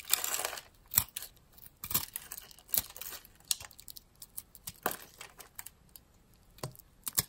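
A metal blade cuts small cubes off the scored surface of a solid, opaque, light-green rounded soap bar, palm-sized and held in the hand. A scraping crunch opens, followed by a series of crisp, bright cuts and short crackles with quiet gaps between them.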